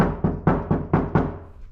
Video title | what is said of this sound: Cheap Sound Deadening for Your Car | These doors are kind of lightweight. They're real tinny. You knock on them.